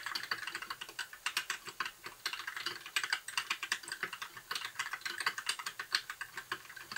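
A compact white mechanical keyboard with plastic keycaps and blue backlight, sitting on a desk, is typed on steadily with the fingertips of both hands. Quick, sharp clicks and clacks follow one another in a continuous flow with a bright, crisp tone and almost no low end. Each keystroke fades almost instantly.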